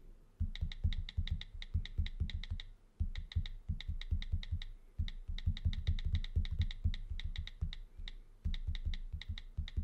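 Fingertips tap quickly on the on-screen keyboard of an iPad's glass surface, with the tablet in a brown case. Soft, dull, thumpy taps come in fast typing runs, each carrying a faint bright click on top. Brief pauses separate the runs before the tapping resumes.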